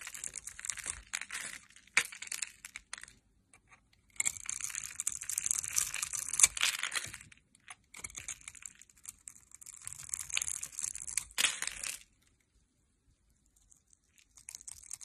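A metal knife blade cuts along a hand-held, solid, translucent amber glycerin soap bar scored in a grid, crumbling off small cubes and shavings. Dense, bright, crisp crackling and crunching comes in bursts separated by short pauses, with almost no low end. It falls nearly silent before faint crackles return at the end.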